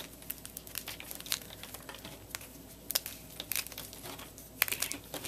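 A block of gym chalk (magnesium carbonate), solid white and pale yellow chunks and powder, is squeezed, crushed and crumbled by bare fingers and palms into a powdery pile. The sound is a quiet, dry, bright crinkling crunch with many sharp, short crackles and snaps that die away almost instantly. A few louder cracks stand out over a steady gritty rustle.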